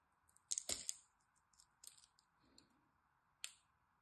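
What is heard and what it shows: A metal blade carves and scores a solid green dry soap bar held in the hand, scratching and cutting a cross-hatch pattern into it. Short, bright, crisp scraping and cutting crackles come in quick bursts, loudest near the start, with a sharp final scrape near the end. A faint steady hiss sits underneath.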